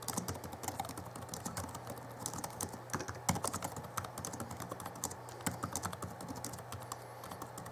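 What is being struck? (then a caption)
Plastic laptop keyboard. Fingertips of both hands type on the backlit plastic keys of a small Alienware M11x R2 (2011) laptop keyboard. Quick, light plastic clicks and clacks run steadily throughout, each short and dry with a bright tick, over a faint steady low hum.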